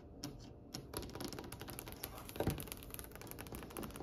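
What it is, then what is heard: Polished wooden tabletop. Long fingernails on both hands tap rapidly across a glossy, varnished, solid dark wood tabletop. The result is a quick, steady patter of short, dry clicks that die away almost instantly, each with a soft low knock under a bright tick.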